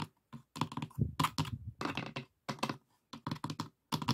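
Fingertips and nails tap rapidly on the dividers and walls of an open, empty, light pine wooden box with three compartments and a metal latch. The box sounds hollow, giving quick bursts of low, woody knocks mixed with crisp clicks, separated by short pauses.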